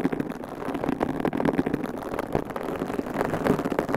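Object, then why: Foam microphone windscreen. Long pink coffin-shaped acrylic nails on both hands scratch and squeeze two identical large, soft, porous white foam windscreens on binaural microphones. A dense, continuous crackle of rapid rustling and scratching fills the clip, mostly in the low-mid range with little bright content.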